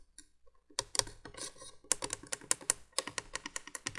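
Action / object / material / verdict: tap / plastic window candle-light base / plastic / none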